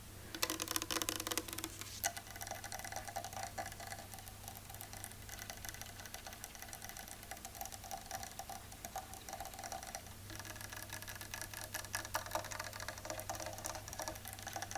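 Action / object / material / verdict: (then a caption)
tap / painted wooden chair / wood / real. Fingernails tap rapidly and continuously on a painted chair made of real wood, giving dense, bright, dry clicks that stop almost instantly. A steady low hum runs underneath the whole time.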